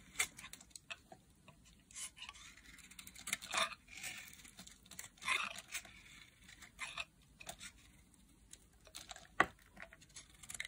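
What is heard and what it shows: A metal blade carves a solid blue-teal bar of dry soap, peeling flakes off the block. The clip is a quiet series of short, bright, crisp scraping and crackling cuts with a dry, crumbly texture. There are louder strokes around 3.6 and 5.3 seconds and a sharp snap near 9.4 seconds.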